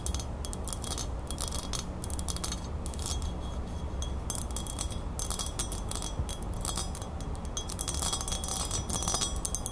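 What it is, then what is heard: Metal crown. Long nails rapidly tap and scratch the beaded band and base of a small, hollow, silver-toned metal crown. Quick, bright metallic clinks and high chime-like ringing come in dense bursts over a steady low rumble, with soft scratching between the taps. The tapping stays fast and even throughout.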